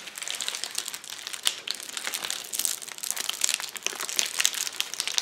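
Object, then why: Plastic bubble wrap sheet. A flat sheet of clear plastic bubble wrap lying on a table is pressed with fists, knuckles and fingers, popping the bubbles. The result is a dense, continuous run of sharp, bright pops and crinkling plastic with almost no low end, each snap dying away almost instantly.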